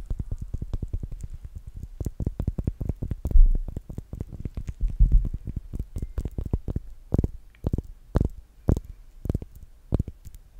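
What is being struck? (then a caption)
Soap bar in plastic wrap. Long painted nails scratch and crinkle the clear plastic wrap on a small, solid rectangular bar of soap held in both hands. The result is a quick run of short, dry crackling taps and scrapes, dense at first and then spacing out into sharper separate clicks, with a soft low-heavy body.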